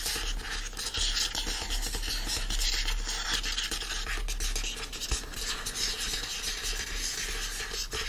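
Fingernails scratch the printed cover artwork of a yellow hardcover book, "You Deserve Good Gelato," lying flat and solid. A steady, dry scratching and rubbing fills the clip with bright, papery texture over a low, constant hum.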